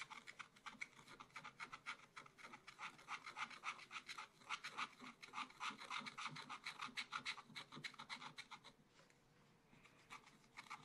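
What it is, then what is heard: Scratch art paper sheet. A wooden stylus held in the fingertips scratches away the coating of a black wax-coated scratch art paper page in a small spiral-bound pad lying flat on a table. Quick, dry rasping strokes repeat at about three to four per second, bright and scratchy with most energy in the upper range. They ease into a quieter stretch near the nine-second mark before picking up again at the end.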